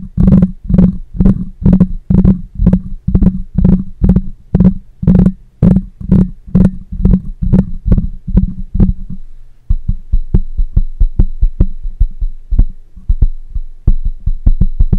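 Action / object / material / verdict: tap / metal mesh microphone grille / metal mesh / none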